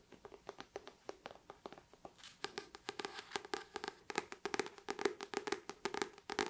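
Long painted nails on ringed fingers tap and scratch across the glossy paper front cover of the paperback book "Her Body and Other Parties," held up in both hands. Quick, light, dry taps with a hollow tone around 400 Hz mix with soft scratching. The taps start sparse and quiet, then grow denser and louder after about two and a half seconds.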